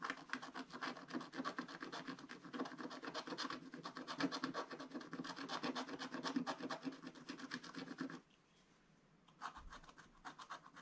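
A wooden stylus scratches across a black-coated scratch-art card page in a spiral book, working over the sheep area. It makes a steady run of quick, dry, rasping strokes with bright, papery texture for about eight seconds. After a brief silence the scratching starts again.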